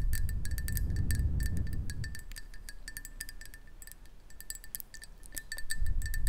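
Long nails tap rapidly and irregularly on a hollow black ceramic mug held in both hands, producing short, bright, ringing clinks with a steady tone near 2 kHz. A low rumble sits underneath, strongest at the start and end.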